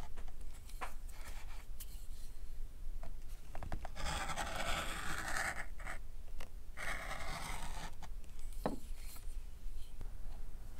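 A metal stitching groover, held in the fingers, is drawn along the edge of a flat, dark brown tooled leather knife sheath with a metal snap, lying on a wooden workbench, scratching a channel into the leather. Dry, raspy scraping strokes come in longer bright bursts around the middle, with short ticks between them, over a steady low hum.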